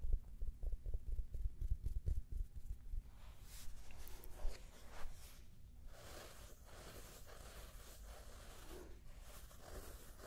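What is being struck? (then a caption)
U-shaped travel neck pillow with fabric cover and foam filling. A grey U-shaped travel neck pillow with a soft fabric cover and foam filling, held in both hands, is tapped and scratched with long red nails. The first few seconds bring quick, dull, low thumping taps, which then give way to softer, airy scratching and rustling across the fabric. The sound is close and muffled, with little ring after each touch.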